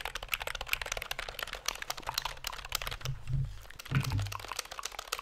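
Fingertips tap and press the keys of a black plastic computer keyboard held at angles near the mic, producing a rapid stream of short, bright, dry clicks. Two deeper, soft thumps swell underneath around the three- and four-second marks.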